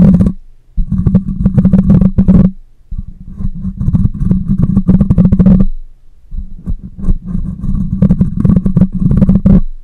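Long nails and fingertips scratch the metal mesh grille of a black microphone, producing dense, low, rumbling scrapes centered around a deep hum. The scratching comes in long continuous bursts separated by brief pauses, with faint brighter crackle on top.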